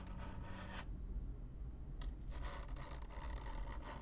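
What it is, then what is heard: Corrugated cardboard box being brushed. A stiff black-bristle brush scratches across the surface of a hollow brown corrugated cardboard box, close up. A dry, bright scraping rasp runs for almost a second, falls silent for about a second over a steady low rumble, then resumes as continuous brushing until the end.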